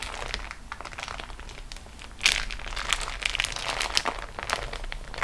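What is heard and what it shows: Long nails rest on and scratch the top edge of a flat, crinkled beeswax-coated cotton food wrap sheet lying on a table. The result is a steady, bright crinkle with dense, sharp crackles, swelling into a louder, busier stretch of crackling about two seconds in.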